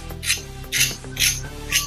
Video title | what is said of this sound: Best Poha Recipes to Enjoy on a Rainy Day - Quick and Easy Poha Snacks | you must be able to tell from the sound itself how crispy it has become